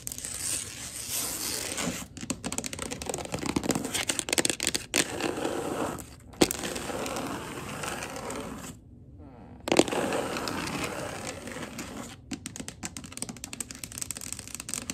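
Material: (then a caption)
Laminate. Long gold glitter acrylic nails tap and scratch across a wood-look laminate floor in a fast scurrying motion, making a dense, bright crackle of clicks and scrapes. The sound pauses briefly near the middle before the scurrying resumes, with a few sharper taps standing out.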